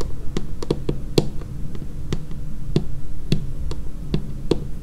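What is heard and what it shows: Long painted fingernails tap along the edge and surface of a dark laminated wooden tabletop in an irregular, unhurried rhythm. Each tap is a short, dry click that dies away almost instantly, with a low, hollow body and a bright fingernail tick on top, over a steady low background rumble.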